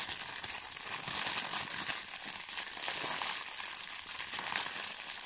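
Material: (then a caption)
Plastic. A thin, clear plastic bag is balled up and crushed in the fingers, giving a steady, bright crinkling with dense crackles throughout. The sound is almost entirely high-pitched with no low end, and its loudness stays fairly even across the clip.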